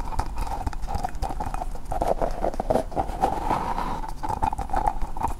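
A small green hollow plastic ball made of two halves is held close to the microphone and tapped and scratched with long painted nails. A rapid, steady stream of short, dry clicks and scratches carries a hollow resonant tone around 860 Hz, with a low rumble underneath.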